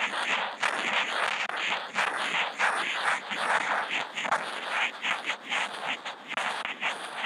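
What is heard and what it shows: The felt tip of a Posca marker, picked up by a contact mic on the marker, draws small looping spirals on a flat white sheet of Kent paper. It makes a continuous scratchy, rasping scrape that swells and dips with each loop. The sound is bright and mid-heavy, with no low end.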